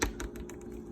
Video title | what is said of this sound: MrsSmith_EggExperiment_Day4_October-16-2020 | it bounces it's kind of like a rubber